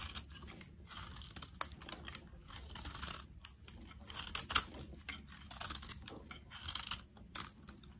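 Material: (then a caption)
Soap. A metal blade scrapes powdery shavings off the face of a solid, rectangular, cream-colored bar of soap held in the palm. The result is a steady, dry, crackly scraping with a bright, hissy texture and brief sharper crunches rising above it.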